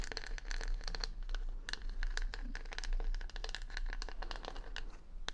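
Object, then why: Wooden hair brush covered in plastic rhinestones. Long nails scratch over the plastic rhinestones covering a wooden hair brush held close to the microphone. The result is a dense run of quick, bright clicking and ticking scrapes with a faint ringing tone over a steady low rumble.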